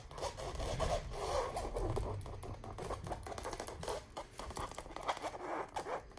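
Long nails scratch and tap across the flat printed surface of a large chandelier wall print, likely stretched canvas. The result is a steady, irregular run of dry, papery scratches and quick taps centered in the low-mid range, with short decays and a faint low rumble underneath.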